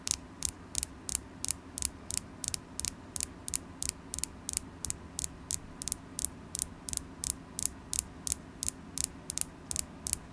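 A solid polished carnelian crystal point held in the hand is tapped with long acrylic nails, giving a steady series of about 32 sharp, bright clicks, roughly three per second, each dying away instantly. A faint low mains hum runs underneath throughout.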